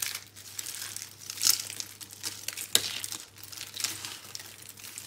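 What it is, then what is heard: Crushed dry soap crumbs. Hands squeeze, crush and rub a large pile of crushed green and pink dry soap crumbs. A steady, bright, dry crinkling and crumbling fills the clip, with sharper crunches standing out around the middle, over a faint low hum.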